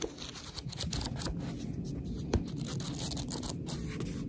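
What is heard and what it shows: Long red nails scratch and tap along the top page edges and cover of a paperback book held in both hands. A steady, dense scratching and rubbing texture fills the clip, with one sharper tap standing out near the middle.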